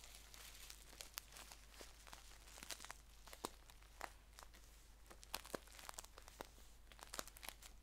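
Fingers crinkle and scratch a green paper tea pouch as it is turned and held on edge. Quiet, crisp crackles and dry scratching are broken by sharp, bright snaps, over a faint steady low hum.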